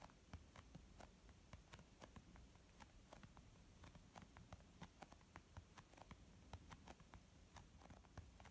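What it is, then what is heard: Leather makeup bag. Long almond-shaped nails slowly tap a white textured leather zip-pouch makeup bag, about 23 times. Each tap is a short, quiet click with a bright edge over a soft low thud that dies away almost at once.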